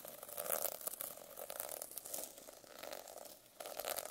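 A metal pen scratches across the plastic sequin cover of a notebook. The result is a continuous, quiet crinkling rasp with bright, fizzy high texture and a mid-range glow, swelling and fading in uneven strokes.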